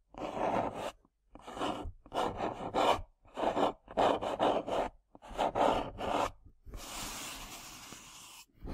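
Long nails scratch and tap across the surface of a small, hollow printed cardboard tea box as it lies and is then lifted. The sound comes in papery, rasping bursts with short pauses between them, centred in the mids. It ends in a longer, steadier, brighter scraping hiss.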